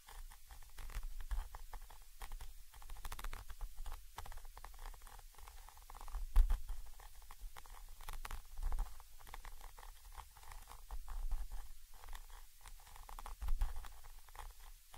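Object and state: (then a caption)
Metal microphone capsule. A thin orange stick taps and scratches the side of a Zoom H5 XY microphone capsule, a small chrome metal body with mesh grilles. The result is a dense, close patter of dull, boomy taps and rasping scratches with heavy low rumble, short bright ticks, and a few louder knocks along the way.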